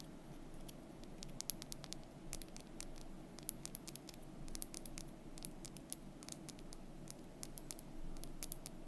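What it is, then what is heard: Painted wooden month bar. Long fingernails quickly tap and scratch a thin, solid, painted wooden month bar held close. Many short, dry, bright clicks and scrapes come in an uneven patter over a quiet, low, steady rumble.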